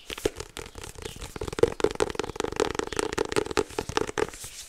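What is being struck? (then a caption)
Card-covered paper agenda. A small white polka-dot 2024 paper hardcover agenda with a card cover and a label on the back, closed like a solid book, is turned in the hands while fingertips tap and scratch its cover and edges. The result is a dense run of quick, dry taps and papery scratching with a muted midrange knock and almost no ring.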